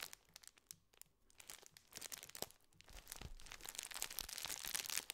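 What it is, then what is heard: Metallized plastic biscuit wrapper being crinkled. A full biscuit tube wrapped in gold foil-lined, metallized plastic is crinkled and squeezed with fingers. It makes quiet, bright crackling and crunching that starts sparse and irregular, then thickens into a denser, louder crinkle toward the end.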